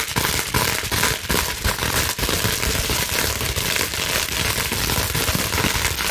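A clear plastic bubble wrap sheet is held in both hands while long nails scratch rapidly over the bubbles. The result is a dense, steady, bright crackling rasp with sharper clicks and snaps running through it, at a fairly even loudness throughout.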